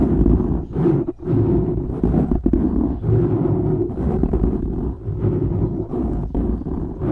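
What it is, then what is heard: Foam microphone windscreen being scratched. Fingernails scratch the top and sides of a black foam windscreen on a microphone, producing a continuous, heavy rumbling and crackling rasp. The sound is concentrated in the low range with almost nothing high, and it swells and dips in short bursts with brief pauses between strokes.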